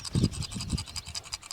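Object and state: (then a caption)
Voltage regulator with loose debris inside. An old sealed-for-life electromechanical car voltage regulator from a Citroen Dyane/2CV is shaken close up, its loose debris caught in the windings on the back producing a dry, scratchy rattle with low thuddy knocks. The rattle indicates the unit is faulty and worth swapping out.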